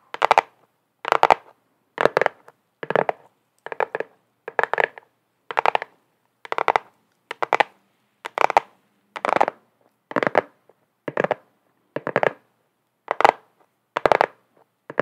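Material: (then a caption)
Cardboard. Long acrylic nails tap and scratch the front and edges of a flat, hollow black cardboard box held in both hands. Sixteen short, crisp bursts of clustered tapping and scratching come at a steady pace with brief silences between them. The sound is dry and papery, centred in the mids with no low end and almost no ring.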